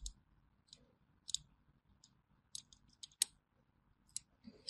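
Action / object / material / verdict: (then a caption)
scrape / bar of hand soap scored with a thin metal blade / soap / none. A small thin metal blade scores crosshatch lines into a solid orange bar of hand soap held in the hand, scratching and cutting it. Quiet, crisp, high-pitched clicks and short scrapes come at irregular intervals, each dying away almost instantly over near silence.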